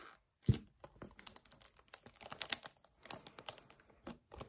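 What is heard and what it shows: Both hands rapidly tap with fingernails on and grip an empty, hollow 1 L white paperboard kefir carton. A quick string of sharp, bright clicks and crinkly squeezes is heard, with a heavier low thump near the start. Each sound stops almost instantly, leaving short quiet gaps between them.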